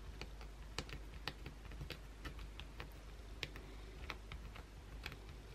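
Long, pointed blue acrylic nails scratch aggressively across the face and edge of a solid white oval bar of soap held in the hand. The result is a quick run of short, sharp, bright clicks and scrapes, each dying away almost at once, over a steady low hum.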